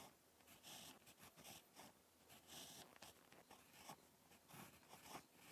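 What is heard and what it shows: A ballpoint pen tip scratches across a lined spiral notebook page while handwriting, giving quiet, bright, papery scratching strokes in short bursts with brief pauses between them. The sound is soft and close, mostly high and hissy, with little low end.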